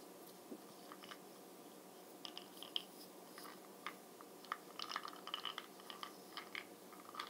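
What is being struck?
Small plastic makeup jar lid.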